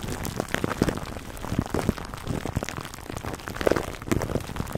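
Fingertips scratch and rub clear plastic cling wrap stretched over a black foam microphone windscreen. The result is a dense, continuous crinkling and crackling, heavy in the low end, with quick sharp pops scattered throughout and a few louder bursts near the end.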